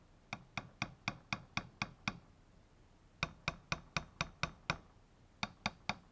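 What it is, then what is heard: Hollow-sounding replacement power window regulator part. A new Korean-made replacement power window regulator/motor part for a 1998–2005 Dodge Intrepid is tapped in a ping test, giving 19 short, bright knocks in three bursts of eight, seven and four. Each tap is a tinny, hollow tick that dies almost instantly, marking the lighter part as hollow and inferior.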